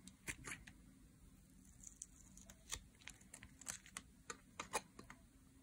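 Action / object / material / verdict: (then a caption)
scrape / bar of soap shaved with a metal blade / soap / none. A metal blade shaves thin curls from the edge and face of a solid green dry soap bar held in the hands. Short, crisp scraping strokes crackle brightly, each dying away almost at once over a faint low hiss.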